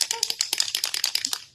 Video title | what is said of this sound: Foiling on Fabric: Jazz Up Your Jeans with a Stencil! | you really need to shake this up and hear that ball rattling like that